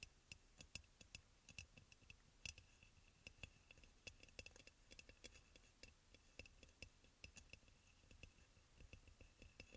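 Fingertips and nails of both hands tap and lightly scratch the glazed sides of a hollow, white crackle-glazed ceramic aroma oil burner. The result is a quiet, rapid stream of sharp clicks with almost no ring, each carrying a faint bright tone near 2.6 kHz over soft scratching. A faint whisper may be present underneath.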